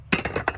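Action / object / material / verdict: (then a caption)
knock / 3D-printed carbon-fiber-filled PPS plastic part / carbon-fiber PPS / none. A 3D-printed part made from Polymaker PPS-CF carbon-fiber-filled filament is handled, giving four quick, bright clinks. The hard, glassy ring decays fast and sounds almost metallic.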